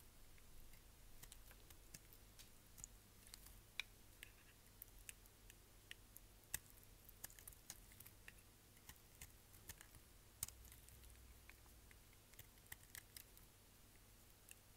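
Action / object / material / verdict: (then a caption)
scrape / bar of soap scraped with a knife blade / soap / none. A solid green striped bar of soap is held in the hand and scraped with a utility knife blade, shaving it into flakes. A quiet run of about thirty short, crisp, bright scratches and clicks plays over a faint steady low hum.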